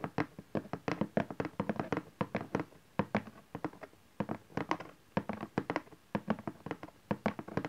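Fingertips and nails tap and scratch the bottom face of a cardboard camcorder box, with its folded flaps, resting on satin fabric. Quick, dry taps come in uneven bursts with brief pauses, each a short, hollow thump and a light papery click that dies almost at once.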